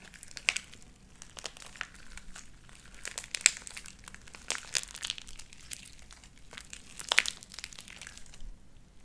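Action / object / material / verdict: scrape / sticky slime with small beads / slime / none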